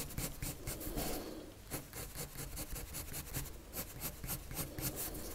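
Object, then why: Colored pencil on paper sheet. A wood-cased colored pencil, held in the fingers, rubs and scratches its tip across a thin white paper sheet lying flat on a table in dense, rapid drawing strokes. The result is a steady, scratchy rasp of quick strokes with bright, hissy bursts over a soft low rumble.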